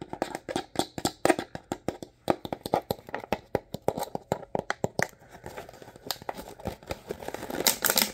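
Fingertips and short nails tap and scratch along the ridged sides of an empty, hollow, clear ribbed plastic water bottle held in both hands, squeezing it slightly. A fast run of sharp, dry, hollow taps fills the first five seconds, then gives way to softer scratching and crinkling with brighter rasping near the end.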